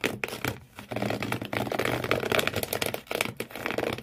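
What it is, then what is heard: Cardboard box scratched. Fingernails scratch hard across the corrugated cardboard floor inside an empty shoe box, leaving frayed marks. The sound is a dense, raspy run of quick scratching strokes with a bright, papery edge and a dry low thud underneath. It breaks off briefly near 0.7 and 3 seconds before resuming just as roughly.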